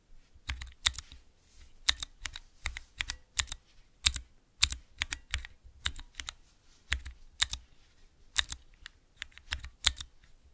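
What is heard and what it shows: Fingertips with long nails type on the clear keycaps of a clear plastic 3x3 mechanical switch tester fitted with Cherry MX switches. Bright, crisp clacks come in quick irregular bursts with short pauses, each one dying away almost instantly with a faint low thump underneath.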